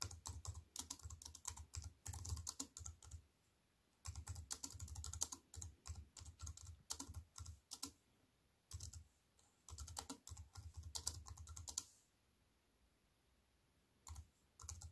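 A slim wireless compact keyboard with black plastic keys in a grey metal-look frame, lying on a wooden table, is typed on quickly with fingertips with white-painted nails. Dense bursts of short, bright key clicks with a low thud underneath come in runs, separated by quiet pauses around 3.5–4 s, 8–9 s and 12–14 s.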